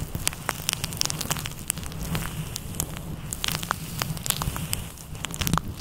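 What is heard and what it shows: Red-nailed fingertips scratch and squeeze a fluffy grey-white synthetic faux fur windscreen over a microphone in a massaging motion. A dense, crackling rustle with a steady low rumble is broken by many sharp, bright ticks, much like a crackling fire.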